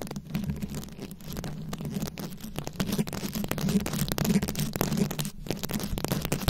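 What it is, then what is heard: Rhinestone-covered microphone. Very long pointed acrylic nails scratch and tap across a fist-sized, ball-shaped microphone head fully covered in small round plastic rhinestones, held in both hands. The result is a dense, continuous rasping crackle of scratches, with sharp clicking taps and a low, boomy rumble around 125 Hz.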